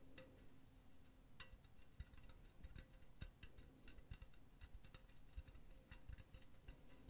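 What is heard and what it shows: Long nails tap rapidly on the wall of a hollow, empty silver metal mesh pen holder. The result is a quick, uneven stream of light, bright ticking clicks over a soft low rumble, each tap dying away almost at once.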